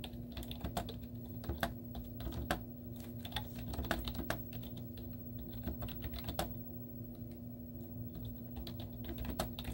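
Both hands type continuously with their fingertips and short painted nails on a white plastic computer keyboard with hollow keys and cartoon stickers on them. Quick, short, hollow plastic clicks tumble out at an uneven pace, with some louder taps standing out, all over a steady low hum.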